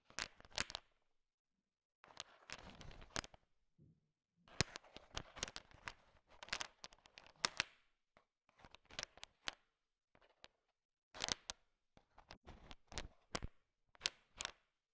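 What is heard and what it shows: A thin wooden stick stirs a large pile of small, solid, sugar-shell-coated chocolate M&Ms, and the candies click against each other. Bursts of sharp, bright, dry clicking and rattling come in short clusters separated by brief silences. Each click dies away almost instantly.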